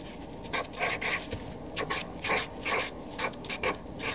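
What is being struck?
Felt-tip marker on paper sheet.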